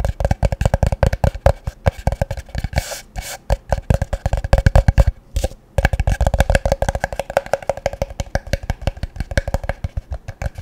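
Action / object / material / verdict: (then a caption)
tap / frosted plastic tub / plastic / none. A hollow, empty, medium-sized translucent frosted plastic tub, held in one hand, is tapped rapidly with the fingertips and nails. It gives a fast, irregular stream of short, dry, hollow knocks with a low thump and a mid-range tone. The tapping pauses briefly twice before resuming at the same pace.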